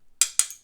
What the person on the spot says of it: I can tell by the sound it makes when I tap it. This is aluminum. And uh it's not plastic.